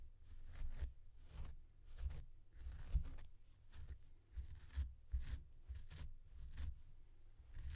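A blue plastic comb strokes through the long synthetic fur of a small, soft purple faux fur plush toy with googly eyes while the other hand steadies the toy. About eight quiet, brushy scratching strokes come in short bursts, each a soft low rustle with a faint airy hiss on top, separated by brief near-silent gaps.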